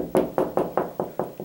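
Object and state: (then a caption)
Solid drywall over a stud. Seven evenly spaced knocks on a drywall wall next to a hollow spot, each a short, dull, mid-pitched tap that dies away almost at once with little boom or ring. The solid sound shows there is a wood stud behind the drywall at this point.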